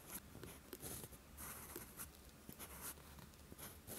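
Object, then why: Steel pen nib on a paper sheet. A steel fountain pen nib scratches along a flat sheet of lined writing paper while writing. Soft, dry scratching strokes with bright, hissy edges come in short bursts over a low background hum.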